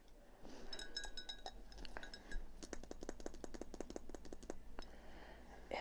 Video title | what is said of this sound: ASMR: Little Dollar Tree Haul; My Current Art Project. Tapping; Soft Whisper Chat. 720 HD | and they make a nice sound too